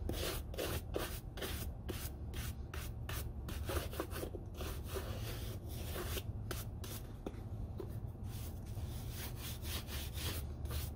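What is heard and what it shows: A hollow, empty brown leather lace-up Red Wing Iron Ranger work boot, held in one hand, is scrubbed with a small wooden-handled bristle dauber brush in a brushing and rubbing motion. Quick, repeated bristly strokes make bright, raspy swishes over a steady low hum throughout the clip.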